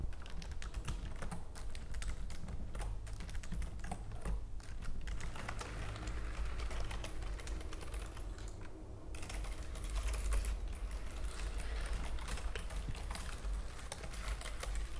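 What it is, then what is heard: Plastic computer keyboard. Long nails type rapidly on the keys of a white plastic computer keyboard, producing a steady stream of fast, crisp clicks and taps over a constant low hum. The typing briefly thins out near the middle before resuming at full pace.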